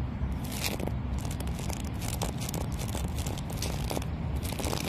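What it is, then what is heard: Palm tree trunk. Fingertips and short nails scratch and tap the ringed, mossy bark of a tall, living palm tree trunk that is solid and fibrous, outdoors in a public park. Continuous crackly, dry scraping and crunching is heard, with bright transient flecks over a steady low rumble.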